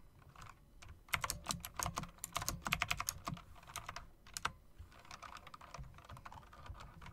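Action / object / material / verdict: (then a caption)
tap / mechanical keyboard with round plastic and metal-rimmed keycaps / plastic / none. Fingertips with long dark nails type on a backlit mechanical typewriter-style keyboard with round plastic and metal-rimmed keycaps. Dense bursts of sharp, bright clicks and clacks come in rapid runs, loudest between about 1 and 4.5 seconds. The typing then settles into softer, steadier tapping over a low background hum.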